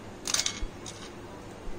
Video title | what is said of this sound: खमंग भाजणीची कुरकुरीत आणि खुसखुशीत चकली, Delicious and Crispy Bhajani Chakali | फार टण्ण वाजायला नकोच आहे आपल्याला. हे बघ कशी सहज तुटली बघ.